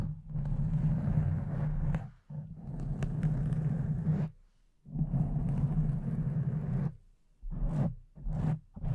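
Long nails of both hands scratch and rub a soft, porous pink foam windscreen on a silver microphone. The result is a dense, muffled, low rumbling scrape that comes in long bursts separated by brief silences, ending in a few shorter strokes.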